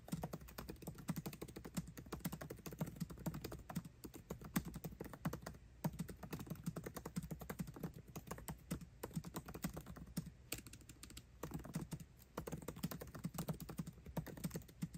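Fingertips type fast on a MacBook Pro keyboard with plastic keycaps set in an aluminum body. The result is a rapid, steady stream of soft, short clicks with a dull, low-weighted tone and almost no ring, broken only by brief pauses.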